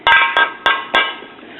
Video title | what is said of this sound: Repair attempt & EOL of a FM pocket radio, and other recent electronic finds | this thing sounds like metal to me